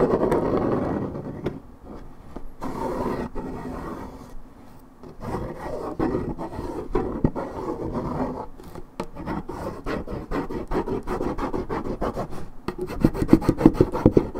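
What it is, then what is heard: Paperboard juice carton being scratched. Long red nails scratch and rub the printed surface of a hollow Minute Maid 1.75 L coated paperboard orange juice carton, fill unknown. The result is a dense, low-to-mid raspy scraping made of many quick, uneven strokes. Near the end it turns into sharper, choppier scratches.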